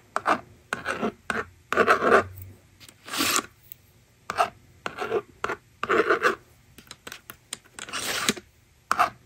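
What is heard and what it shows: A yellow plastic stylus scratches numbers onto the screen of a plastic magnetic drawing board resting on a table, and the slider then wipes them away. Short, dry, raspy scraping strokes come in quick bursts separated by brief silences. A few longer, brighter swishes stand out, and the rest is a quiet background.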